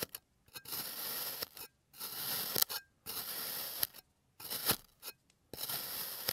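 A clear plastic blade slices thin layers off the legs of a solid, hand-sized, molded teddy-bear shape of blue kinetic sand resting on a green surface. Four long, bright, hissing scrapes are heard, with shorter crunchy scrapes and brief silences between them. There is almost no low end, and each slice stops dead with no ring.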